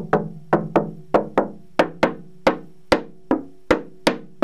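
Repeated taps along the wooden back-to-rib seam of a cello give about a dozen short, dry, knocking clicks with a hollow mid-range tone and almost no ring. They reveal an open seam on the back, a fault that lets the ribs move and makes the cello sound less resonant.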